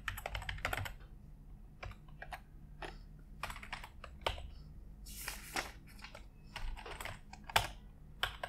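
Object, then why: Plastic computer keyboard. A white full-size plastic computer keyboard on an office desk is typed on continuously with the fingertips of both hands. Rapid, bright plastic key taps and clacks come in quick bursts with short pauses, each tap dying away almost at once over a steady low hum.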